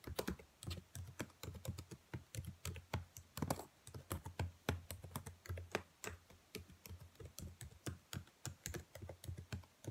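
Fingertips with long nails type quickly on the keys of a black plastic laptop keyboard. The result is a rapid, steady stream of short, dry clicks, each with a soft low thud underneath and a crisp, bright tick on top, fading almost instantly between strokes.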